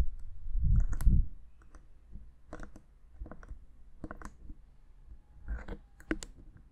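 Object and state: Plastic handheld audio recorder tapped with fingernails.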